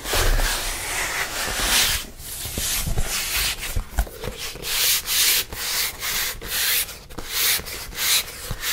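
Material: Plastic.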